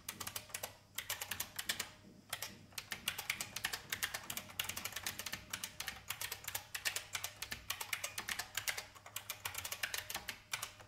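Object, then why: Plastic mechanical keyboard. Rapid fingertip typing on a full-size vintage beige plastic IBM mechanical keyboard with hollow keycaps, resting on a wooden desk, typed by fingers with red painted nails. Dense, bright clicky keystrokes run continuously with only a couple of brief pauses, each click short and sharp with little low end.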